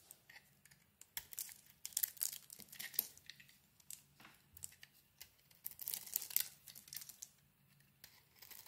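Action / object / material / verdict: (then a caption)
scrape / soap bar / soap / none. A palm-sized, solid lilac soap bar with a white interior is held in the hand and carved and scraped with a metal blade, shedding crumbly shavings. Quiet, bright, crackly scraping and crumbling come in short bursts and strokes, separated by near-silent pauses.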